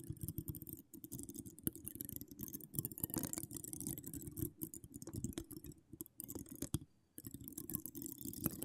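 Long decorated acrylic nails scratch and tap a hollow metal mesh microphone grille with no cover, working the mesh from both sides. The result is a dense, close stream of crackly scratches and quick dry taps, heavy in low muffled thumps with a bright, hissy edge on top. It pauses briefly near six and seven seconds before resuming.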